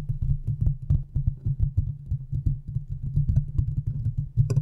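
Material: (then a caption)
Metal. Long nails of both hands quickly scratch the hollow metal mesh grille of a large condenser microphone. The result is a dense run of rapid, muffled scratches and soft thumps, heavy and boomy in the low end, with only a few brief bright ticks over a steady low hum.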